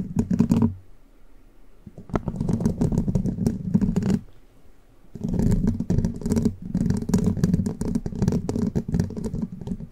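Long pointed plastic witch-finger nail caps scratch and tap the hollow, rounded metal mesh grille of a large condenser microphone, first with one hand and then with both hands. Dense bursts of rapid scraping and clicking come through with a heavy, boomy low end. They stop in short quiet gaps near 1 and 4.5 seconds before resuming and building fuller toward the end.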